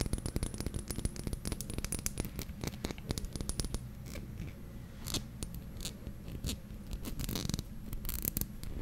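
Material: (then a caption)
Glass. A small dark glass serum bottle with a white dropper cap is held in the hands and tapped and scratched with fingernails. The result is a rapid run of short, sharp clicks over a low rumble, with scratchy, bright bursts between them.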